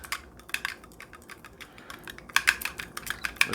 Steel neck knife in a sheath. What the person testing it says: the shake test looks like it'll hold up pretty good